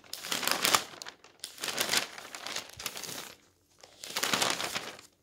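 Fingertips flatten and turn the pages of a newsprint newspaper resting on a table, then gather and crumple the sheets. Bright, papery rustling and crinkling come in several swells, with a brief silent pause before a final burst of crumpling.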